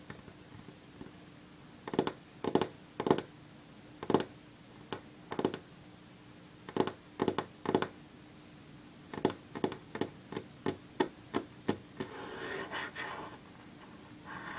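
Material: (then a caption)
Wood. Long fingernails on one hand tap a solid varnished wooden tabletop, making sharp, clicky taps with a short, hollow ring in irregular bursts separated by brief pauses. Near the end a soft rustling swell rises as the hand lifts, followed by a few final taps.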